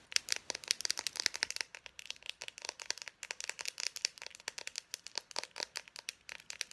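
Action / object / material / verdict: tap / plastic marker barrel / plastic / none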